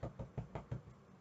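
Five dull, low knocks on a wooden surface, made "knock on wood" for luck after a hopeful sports prediction. Each knock is a short, thudding hit with a brief ring that dies away quickly.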